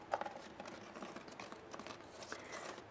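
Long fingernails and fingertips tap and scratch a hollow, medium-sized hanging planter basket of brown woven plastic wicker that holds an artificial plant. Quick, light clicking taps mix with dry, scratchy rustling across the weave, each tap dying away almost at once.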